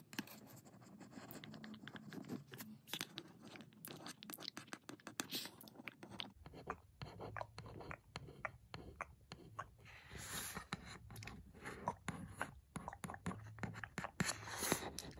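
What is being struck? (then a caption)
Printed cardboard box. A single long, pointed red fingernail scratches and traces across the white printed cardboard surface of a lamp box. The result is quiet, dry, rapid scratching with many short, crisp taps that die away almost instantly. Partway through, a low background hum fills in beneath the scratching.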